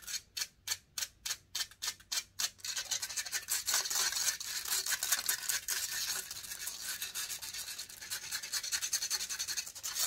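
Long painted fingernails scratch the hollow metal mesh grille of a silver condenser microphone. It starts as a series of separate, evenly spaced rasping strokes, then turns into continuous, aggressive scratching. The sound is bright, hissy and almost without low end.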